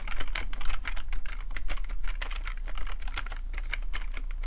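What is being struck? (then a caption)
Plastic computer keyboard. Fingertips of both hands tap quickly across a black plastic full-size computer keyboard with a hollow housing, resting on a fluffy rug. The fast, uneven typing produces a dense stream of short, bright plastic clicks and clacks over a steady low hum.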